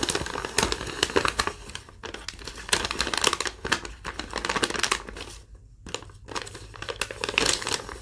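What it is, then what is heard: Thin paper sheet being crumpled. A single thin sheet of yellow lined legal-pad paper, held in both hands, is crumpled and crinkled with fingertips and long nails. It makes dense, bright, crackly rustling in uneven bursts, with brief quieter pauses near the 2-second mark and again around 5.5 to 6 seconds.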